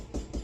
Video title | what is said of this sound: Tile failure and replacement Part 1 PPM Rehabs of Niagara Falls New York. | if you tap on the tile, you'll hear a void underneath this tile, which made it crack.